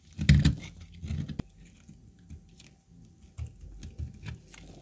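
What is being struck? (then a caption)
Laundry soap chunk. A pale, dry, cracked chunk of laundry soap held in a black-gloved hand is scraped and shaved with a metal utility knife blade, peeling off flakes. About nine short, dull crunching scrapes are heard, mostly low and muffled with little ring, the first one the loudest.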